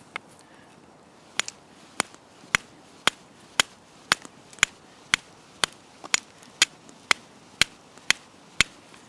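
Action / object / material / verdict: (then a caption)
strike / stone struck with a steel / stone / soft. A stone is struck with steel to try to make sparks for fire lighting, giving seventeen short, sharp, bright clicks at a steady pace with almost no ring. No sparks appear and the edge crumbles with each hit. The dull strike shows there is no really hard material in the stone, so it is not a good candidate for fire lighting.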